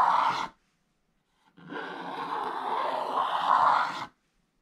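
A wooden stylus scratches the black coating off a thin, flat scratch-art page in an open activity book lying on a table, revealing neon green underneath while the other hand holds the book flat. A short, rough scratch is followed by a pause, then a longer, steady scratching stroke that grows slightly louder before stopping. The dry, raspy sound is centered in the midrange with some brighter grit on top.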